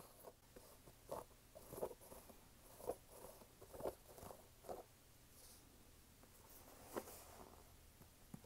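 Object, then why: Canvas sneaker with rubber sole. Fingertips and nails tap the white rubber sidewall and the upper of a hollow, empty red canvas sneaker with a rubber sole. The soft, short, dull taps are low-midrange with a faint scratchy high edge and come in separate bursts, with about five stronger ones standing out. Each dies away almost at once against a quiet background.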